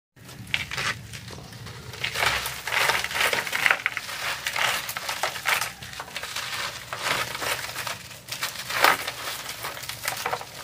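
Bare fingertips rub and crumble the edge of a dry, porous, rough, brick-sized solid sand-cement block held over a black plastic crate of similar blocks, so dry fragments and dust fall. The sound is a steady run of bright, gritty scratching and crackling bursts with very little low end.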